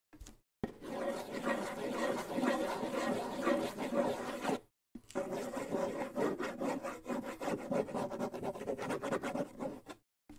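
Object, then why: Wooden bongo drum with skin head. A hollow wooden bongo drum with a skin head is held close to the microphone while fingers rub and scratch across the head and wooden shell. This gives a dense, continuous rasping with a steady hollow mid tone around 570 Hz. It comes in two long passes separated by a brief silence.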